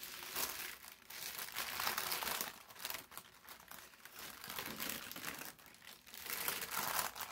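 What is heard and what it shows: A thin sheet of brown parchment paper is pressed and smoothed flat on a table with the palms, then unfolded. Dry, bright rubbing and crinkling rises and falls in repeated swells, with almost no low end.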